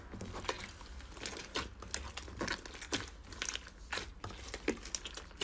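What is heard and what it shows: Soft pink fluffy slime with small bits mixed in, filling a clear rectangular plastic container, is pressed, pushed and stretched with the fingertips and palms of both hands. It gives a steady run of bright, crinkly crackles and soft sticky squelches, with short louder pops standing out over a low, quiet background.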